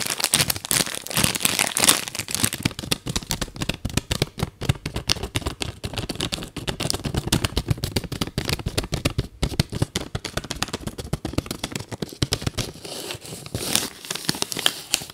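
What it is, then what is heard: Paper-wrapped soap bar. A solid soap bar in a thin white paper wrapper is held in the hands while long nails crinkle and scratch the wrapper. Dense, rapid paper crinkles and crisp scratches run for about 15 seconds, bright and crackly with a soft low rustle beneath. Each sound is short and dry, with no ring.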